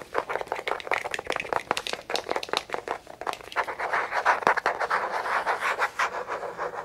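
Fingertips and nails scratch and tap a small, hollow, black plastic tape measure case held close to the microphone, with the hands partly covering it. The result is a dense, irregular run of dry scratches and quick, sharp taps centered in the midrange, with little low end and brief, clicky transients that die away almost instantly.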